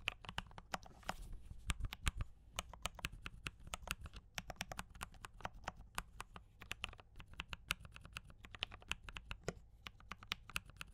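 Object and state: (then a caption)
Mechanical keyboard with plastic keycaps. Both hands type continuously with fingertip taps on a compact D84 mechanical keyboard with brown switches and cream and red plastic keycaps. A rapid, uneven stream of short, bright clacks dies away almost instantly. A steady low hum runs underneath.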